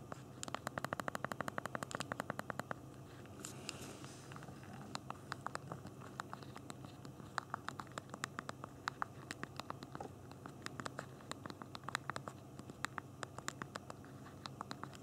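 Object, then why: Phone keyboard with small plastic keys. Thumbs rapidly tap the small plastic keys of a handheld BlackBerry phone's physical keyboard while typing, producing dozens of quick, dry clicks with almost no ring. The clicks come in fast bursts and brief pauses over a quiet, low, steady background hum, with a short soft hiss partway through.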